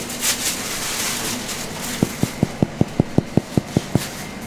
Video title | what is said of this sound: A Day in a French Family Bakery - 4AM Start - Breads, Pastries & Chocolates - Apprentices at Work 🇫🇷 | quand ça sonne creux, ça veut dire que c'est cuit